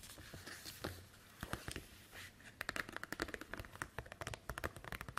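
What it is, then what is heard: Plastic document folder. Long white acrylic nails tap and scratch across a thin, flexible, translucent green plastic envelope folder with a snap button, lying flat on a wooden table. Quick, sharp clicks and crinkly scratching sounds fill the clip, becoming denser and brighter in the second half. At the end, the folder is lifted and bent, giving a soft plastic crinkle.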